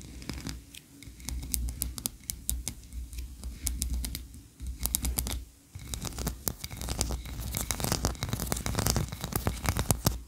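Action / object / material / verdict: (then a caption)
scrape / ribbed wax candle / wax / none. Long nails rapidly scratch and tap the upper tiers of a solid white, ribbed, tree-shaped wax candle. Dense, sharp clicks with bright, crisp edges come in quick bursts over a steady low rumble, pausing briefly a few times before resuming.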